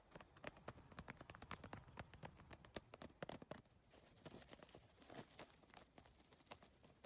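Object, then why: Handbag covered in rigid plastic tiles. A hollow, closed handbag covered in rigid iridescent triangular holographic PVC tiles on a flexible backing is tapped fast and scratched with long painted nails. Dense clicky taps come in quick bursts, bright and dry with almost no ring, then ease into softer scratching and lighter tapping.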